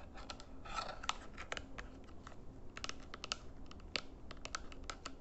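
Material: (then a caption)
Plastic. Fingertips and nails tap rapidly on the buttons and back casing of a small hollow plastic RGB IR remote control held in both hands. The taps are dry, bright plastic clicks that die away almost instantly, over a quiet, steady low rumble.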